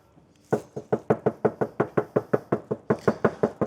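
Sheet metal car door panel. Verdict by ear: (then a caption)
Tinny. Eighteen quick, steady knocks on the sheet metal door panel of a Mercedes C-Class that has not been soundproofed. Each knock is a short, hollow midrange thud that dies away almost at once. The panel sounds very tinny compared with a soundproofed door.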